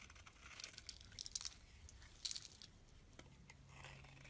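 A utility knife blade shaves the surface of a solid pale pink oval soap bar held in the palm, producing quiet, crisp, crinkly scraping strokes. The strokes are mostly high and bright, with louder bursts in the first half and again just past the midpoint. A faint low hum is heard near the end.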